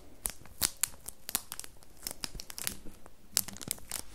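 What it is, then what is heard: Plastic-wrapped bar of soap. Long nails tap and scratch a solid square bar of red soap in clear printed plastic wrap, held up close. Sharp, crisp crinkling and scratchy taps scatter irregularly across the clip, bright and high with quick decays over a soft low rustle.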